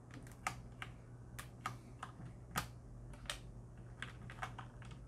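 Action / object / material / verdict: tap / mechanical keyboard with plastic keycaps / plastic / none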